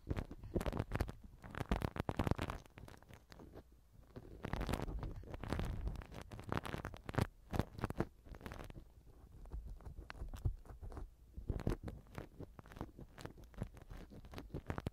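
A black silicone ear pick rubs inside the right silicone ear cover of a binaural microphone. It makes close, muffled rubbing and scratchy crackles that come in dense bursts with short pauses between them. Most of the sound sits low, with a faint bright edge on the sharper scrapes.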